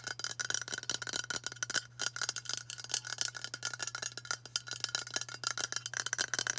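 Long matte burgundy nails tap fast on a hand-sized White Dove aluminium spray deodorant can, a hollow cylinder held upright. The result is a rapid, uneven stream of bright, metallic clicks that ring briefly with a high chime-like tone, over a faint steady low hum.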